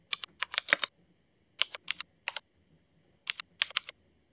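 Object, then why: Mechanical keyboard with ABS plastic keycaps. Both hands type with their fingertips on a mechanical keyboard fitted with black Cherry MX ABS plastic keycaps. Quick bursts of sharp, bright clacks come in three clusters separated by short pauses. Each keystroke is dry, with almost no low end and virtually no ring.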